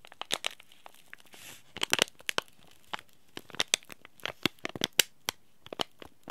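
A small green laminated plastic-foil tea bag packet, held in both hands, is crinkled and scratched by the fingertips. It gives a rapid, uneven series of sharp, bright crackles with almost no low end. A brief soft rustling hiss comes near the middle.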